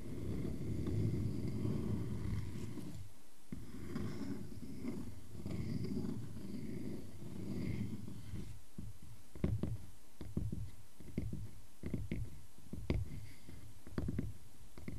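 Fingernails scratch across the ring face of a solid round wooden log slice resting on a black surface, making a dense, low, rumbling scrape for the first eight seconds. Fingertips then tap the wood in a series of short, dull knocks with bright clicky edges.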